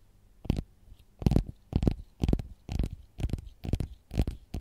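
Long gold-polished nails tap and scratch the textured peel of a whole, solid, raw fresh lemon held in the hand. About ten short, dry, scratchy bursts come at a loose, uneven pace, each carrying a soft low thump along with a crisp scraping rasp.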